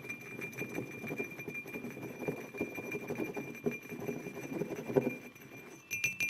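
Fingertips and short nails tap and scratch the sides of a hollow white glazed ceramic mug resting on a wooden table. A dense run of soft, quick taps with a dull, hollow body is woven with light scratching, and a faint steady tone sits in the background. A few sharper, brighter clicks come near the end.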